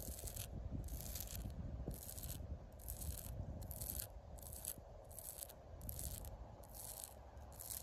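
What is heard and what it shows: Long pink acrylic nails scratch and rake across the ridges of rough, deeply furrowed, solid bark on a living tree trunk outdoors. Steady, dry scraping and rubbing sits over a heavy low rumble, with bright, hissy bursts of scratching recurring in a loose rhythm through the clip.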